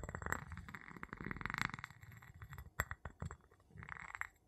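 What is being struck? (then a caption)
Glass jar tapped with a wooden pestle. An empty clear glass jar with a gold metal lid, held in the palm, is tapped and rubbed on its glass bottom with the tip of a wooden pestle. Quick, dry clinks mix with a low, scratchy rubbing hum, and bursts of bright ringing come in clusters.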